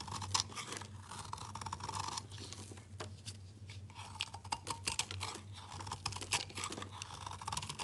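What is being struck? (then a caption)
Bar of soap. A utility knife blade scrapes and chops small crumbly pieces off a solid rectangular bar of layered rainbow soap with red, yellow, blue and green layers, held in the fingers. The result is a dense run of crisp, bright scraping and crunching strokes with short dry clicks over a steady low hum.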